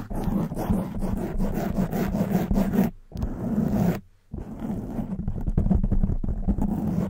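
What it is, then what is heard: Foam microphone windscreen being scratched. Fingertips and long white nails scratch the front and sides of a black soft foam microphone windscreen. The result is a dense, close, low rumbling scrape with rapid crackly strokes, broken by two brief near-silent gaps around the three- and four-second marks.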